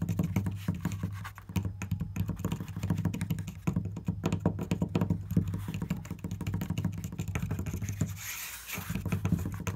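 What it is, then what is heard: Wooden panel. Fingertips and nails tap rapidly on a flat wooden surface covered with marker drawings, giving a dense stream of short, dry clicks over a steady low hum. Near the end, a brief bright hiss rises before the tapping resumes.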